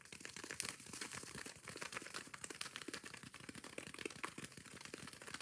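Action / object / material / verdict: scrape / foam kitchen sponge with abrasive scouring pad / foam, abrasive / none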